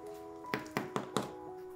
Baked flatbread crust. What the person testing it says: ด้านนอกกรอบมาก